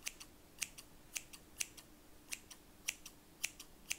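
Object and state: Steel scissors snipping.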